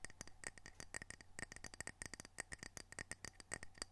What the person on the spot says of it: Gentle tapping, scratching, and rubbing of ceramic coasters